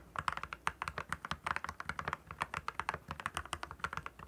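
Both hands type continuously with their fingertips on a compact 68-key RK68 mechanical keyboard with backlit clear plastic keycaps. About 31 quick, crisp clacks centered near 1 kHz fall in an uneven, steady rhythm, each with a bright top and almost no ring.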